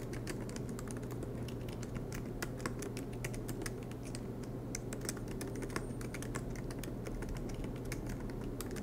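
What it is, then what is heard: Laptop keyboard with plastic keys. Fingertips tap steadily on the black plastic keys of a MacBook Pro aluminum laptop, making a continuous run of quick, light, bright clicks. A steady low hum sits underneath the typing throughout.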